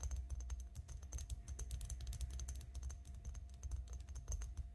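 Long nails tap rapidly along an elongated glass perfume bottle, partly filled with pink liquid and lying flat on a table. The result is a dense, continuous stream of light, bright clicks over a steady low hum.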